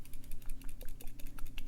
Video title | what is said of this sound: Make Up For Ever Water Blend Foundation - Dry Skin Over 40 | it sounds like water can you hear this I'm gonna shake it near the microphone it sounds super liquidy